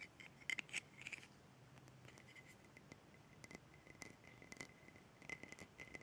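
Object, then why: Small glass jar with metal screw lid. Long red nails tap and scratch the sides of a small clear glass jar with a gold metal screw lid, held in the hands. Quiet, bright clicks and soft scraping come with a faint high glassy ring near 2 kHz, with louder clusters of taps near the start and end.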